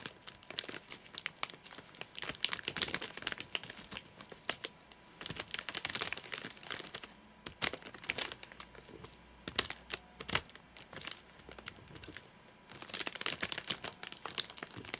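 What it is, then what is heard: Plastic-wrapped nougat bar package. Fingertips and short nails tap and scratch the top of a flat, sealed white plastic/paper-laminate nougat bar package with crimped edges, full of nougat bars and lying on a sofa. The result is dense, bright crinkling with quick ticks and scratchy rustles. It swells into busier bursts and then thins into quieter, sparser taps.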